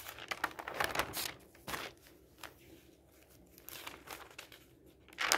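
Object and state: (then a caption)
Newspaper pages rustling. Fingertips lift and flip the thin sheets of an open newsprint newspaper lying on a table, rustling and crinkling the paper. Bright, papery bursts cluster at the start, fade to soft crinkles through the middle, and end with a louder rustle.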